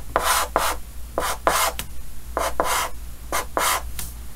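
Yellow chalk held in the fingers draws repeated short scratching strokes on a large, flat, solid painted chalkboard with a green frame. About ten dry, raspy scrapes come in uneven pairs and groups, with a brief squeak and a bright hiss on each stroke over a faint low hum.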